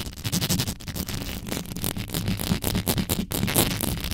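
Long yellow nails on both hands quickly scratch and rub the bare, hollow metal mesh grille of a black condenser microphone. The result is a dense, continuous stream of rapid scraping and crackling, with a heavy low rumble and bright, gritty bursts throughout.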